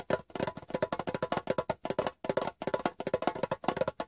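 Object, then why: Small rectangular metal tin. Fingertips and nails tap the bare metal bottom of a hollow, rectangular Wrigley's metal gum tin turned upside down. About 28 quick, dry taps come in a steady, uneven run with brief pauses. Each has a hollow tinny knock around 715 Hz and a bright click that dies almost at once.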